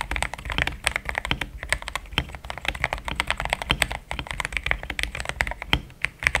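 Steady fingertip typing on a pink-framed compact mechanical keyboard with thick cream XDA plastic keycaps, a polycarbonate plate, linear switches and a hollow case. A fast, continuous stream of short, crisp clacks with a bright tone centered around 2.2 kHz over a soft low thump, each keystroke dying away almost instantly.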